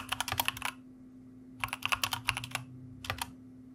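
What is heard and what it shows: Fingertips of both hands type on a white mechanical computer keyboard with plastic keycaps. Three quick bursts of crisp, bright key clicks are separated by short pauses, with a faint steady low hum underneath.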